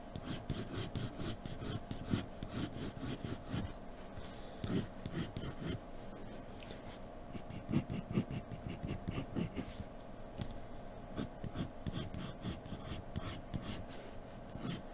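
A graphite pencil tip rubs and scratches dense shading strokes across a flat sheet of white drawing paper resting on a dark table. A continuous dry, raspy scratching is heard in quick back-and-forth bursts. A steady low hum lies underneath.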